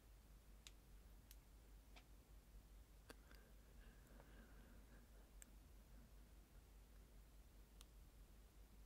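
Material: Plastic.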